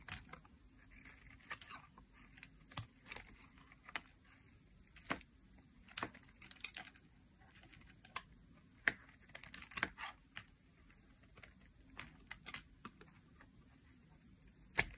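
A metal knife blade carves a solid pink dry soap bar in a series of short shaving scrapes. Each stroke is a crisp, dry, bright scratch with almost no ring, separated by quiet pauses and with little low end.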